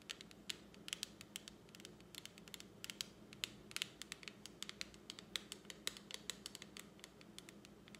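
Long acrylic nails tap and scratch the open clear lid of a small plastic lipstick palette, making a quick, irregular run of sharp, bright clicks and ticks over a soft scratchy hiss. Each tap is dry and dies away almost instantly, and the whole clip stays quiet and close.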